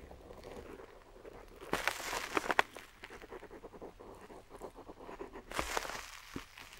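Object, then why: Parchment-style paper sheet and metal dip pen nib. A metal dip pen nib scratches along the coastline of a map drawn on a flat, aged-look parchment-style paper sheet, while the other hand steadies the sheet and an ink pot sits still nearby. Soft, dry scratching and rustling run throughout, with two louder bursts of bright, crackly nib strokes.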